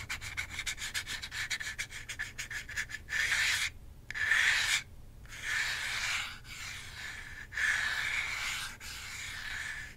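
Fingertips and long nails rub and scratch back and forth over the plastic face and buttons of a hand-sized, hollow plastic Nintendo Switch Joy-Con controller held in a grip. A rapid run of quick, dry scratching strokes gives way to longer, louder sweeping rubs separated by brief silences. The sound is a bright, hissy friction with a steady midrange tone near 1.8 kHz and very little low end.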